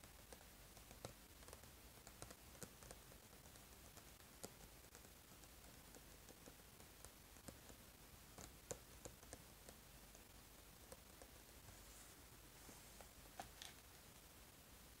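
A small cardboard eraser box is held and tapped with the fingertips, first on the back and then on the front. Soft, quiet, irregular taps with short clicky edges and almost no ring sit over a steady low hiss.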